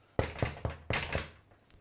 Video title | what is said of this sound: How to Make Bread with Clive 👨🏻‍🍳🍞 | Tap the base. If it sounds hollow, it's cooked.